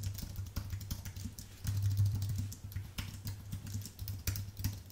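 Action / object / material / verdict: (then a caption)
tap / plastic keycaps on an aluminium keyboard / plastic / none. Fingertips type on a white, full-size Apple Magic Keyboard with plastic keycaps on an aluminium base, making a steady stream of light clicks and taps. The keystrokes fall in irregular quick bursts over a low, constant hum.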